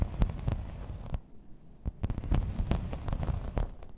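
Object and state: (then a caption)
Embossed plastic placemat, tapped and scratched. Long red nails tap and scratch across the raised pattern of a thin, solid grey embossed plastic placemat. The result is a steady run of short, crisp clicks over a low, dull rumble, with a brief quieter pause near the middle.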